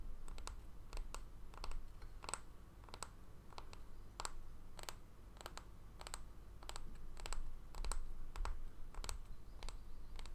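A small, solid, round bamboo jar lid, held on its edge, is tapped and scratched with fingernails. Sharp, bright clicks come at an uneven pace over a steady low rumble, with soft scratching between the taps.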